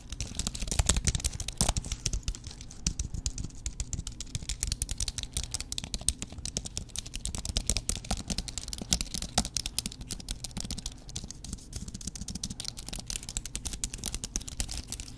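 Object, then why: Aluminum and plastic computer keyboard. A thin white wireless keyboard with an aluminum base and plastic keys is held upright in one hand while fingers tap and press its keys. A continuous stream of quick, dry plastic clicks and taps runs throughout, each dying away almost instantly, with bright edges over a steady low hum.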